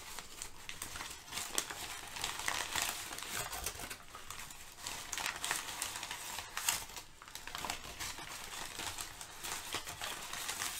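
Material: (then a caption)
Paper. Crumpled thin brown kraft packing paper sheets are shifted and crinkled with fingertips and long nails. The result is a steady, bright crackling and rustling that swells and eases over about eleven seconds, with little low end.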